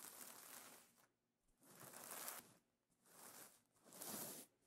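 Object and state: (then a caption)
Sequin pillow cover being scratched. Fingers with painted nails scratch and rub across iridescent plastic sequin fabric on a pillow cover. Repeated strokes make bright, crinkly rustling bursts with short quiet gaps between them.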